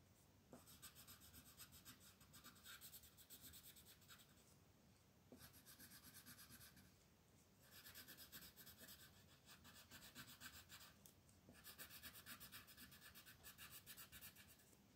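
A teal colored pencil is rubbed back and forth over a flat paper mandala coloring page to fill in shapes. It makes a steady, bright scratching at roughly four strokes per second, in long stretches broken by a few short pauses.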